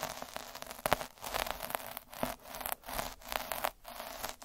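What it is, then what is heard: Felt sheet rolled with a needle roller. A metal-needle derma roller is rolled back and forth over a red felt sheet lying on a dark table. It produces a dense, bristly scratching and rustling texture in repeated strokes, with short bright ticks and brief pauses between passes.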